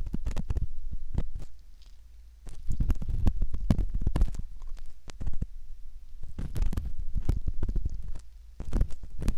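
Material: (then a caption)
Silicone. A metal ear pick slowly scratches around the canal entrance of a soft, solid silicone ear model. Heard up close, it makes a dense run of deep, muffled scrapes and soft thuds with brief quieter gaps between them.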